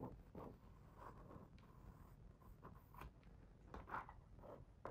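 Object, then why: Glossy paper page of a hardcover picture book. A fingertip traces and rubs across the glossy paper page of a hardcover picture book lying open on the same spread. Quiet, soft scratchy strokes come in an irregular rhythm over a low rumble, each brushing sound fading quickly.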